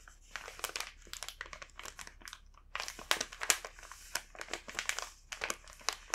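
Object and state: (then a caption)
Plastic snack bag. A large, full, green printed plastic bag of Rumando matcha crepe cookies is held and handled with both hands and fingertips, making its film crinkle. Rapid bursts of bright, crisp crackling rise and fall unevenly, with almost no low end and very short decay.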